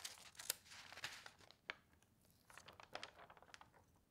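Hands with long painted nails flatten and rub the thin sheets of an open newsprint newspaper spread on a table and turn its pages. Bright, crisp rustling and crinkling comes through with several sharp paper snaps standing out, with almost no low end. Quiet gaps sit between the louder bursts of page handling.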